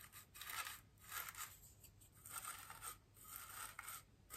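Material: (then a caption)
Polystyrene foam. A bristle paintbrush brushes a large, solid white polystyrene foam wreath ring, and then two hands with long green nails rest on the foam and begin touching it. Several soft, bright, scratchy swishing strokes rise and fade in quiet swells, with a faint steady high hiss underneath.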